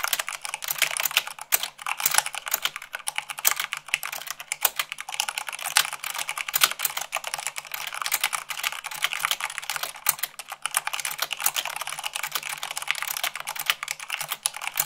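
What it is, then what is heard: Mechanical keyboard, typing. Two hands with long manicured nails type fast at about 98 words per minute on a full-size mechanical keyboard with white plastic keycaps on a black base, tapping the keys with fingertips and nails. The result is a steady, dense stream of sharp, bright plastic clicks and clacks with very short decay and almost no low end.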